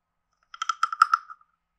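A hand-sized, carved, hollow wooden frog guiro with a ridged back is tapped on its side and head with a wooden stick. Seven quick, dry, hollow knocks ring out, each with a clear woody tone near 1.35 kHz, bright upper edges and almost no decay.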